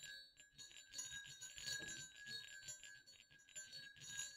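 Two small hollow silver metal jingle bells on a dark string, resting over black cloth, are jiggled and shaken by a hand. Soft, bright tinkling and clicking rise and fall in quick bursts, with short high dings that fade fast.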